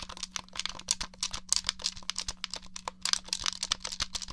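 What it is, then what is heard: Plastic game controller. Fingernails tap and press the buttons of a hollow grey plastic Nintendo 64 controller, making a quick, uneven run of about 27 dry, bright plastic clicks. Each click stops almost at once, and a faint steady low hum sits underneath.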